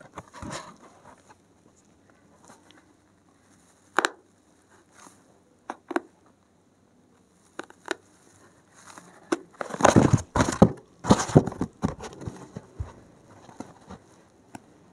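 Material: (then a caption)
Foam. A gloved hand pokes and scratches the top edge of a solid stack of thick, dark grey porous foam sheets with a thin metal pin. Soft, dry scratches and quick taps come in scattered bursts, building to a denser, louder flurry of crackly scraping in the second half before trailing off into sparse pokes.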